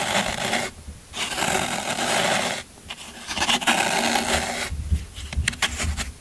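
A yellow-handled metal scraper rakes repeatedly across the end of a solid green floral foam brick, crumbling the foam. Three long, bright, gritty rasping strokes are followed by a run of quicker, shorter scrapes and crunchy crackles.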